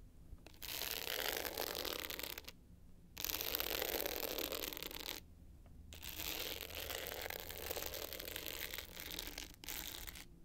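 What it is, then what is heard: Glitter hard-shell clutch scratched with nails. Long pointed nails scratch the navy glitter top of a small rectangular hard-shell clutch bag with a gold metal frame, lying flat. Three bursts of bright, dense, gritty scratching are separated by short pauses, the last one longest, with a faint low hum underneath throughout.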